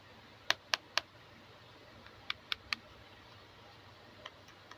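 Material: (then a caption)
Hard plastic. A small, hollow, hand-sized pink hard plastic toy camera is held in both hands, turned, and tapped and clicked with long blue-painted nails. Two quick bursts of three sharp, bright clicks stand out, followed by a couple of fainter taps. Each click dies almost instantly over a quiet background.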